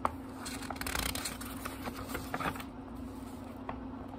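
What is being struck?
Small book with thin paper pages.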